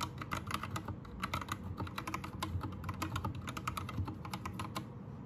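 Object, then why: Mechanical keyboard with plastic keycaps. Fast two-handed fingertip typing on a white 60% Anne Pro 2 mechanical keyboard with plastic keycaps. It produces a dense, steady run of sharp, bright clicks over a low, rumbling thock.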